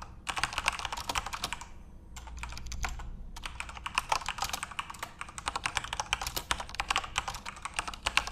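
Fingertips type rapidly on a full-size RGB-backlit Corsair mechanical keyboard with plastic keycaps, producing a dense stream of sharp, bright clacks centered around 2.8 kHz. Each keystroke is short and dry. The typing pauses for about a second, leaving a low rumble, before resuming at the same quick pace.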